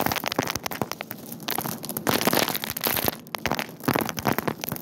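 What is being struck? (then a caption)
Dried white beans in a wicker basket. Bare fingertips and palms press into and rummage through a large open wicker basket full of loose, hard, small dried white beans in a store. Dense, bright rustling and sharp clicking crackles come in bursts as the beans shift against one another.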